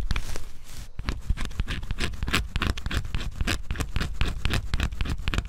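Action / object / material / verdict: scrape / cardboard scratch-off jigsaw puzzle / cardboard / none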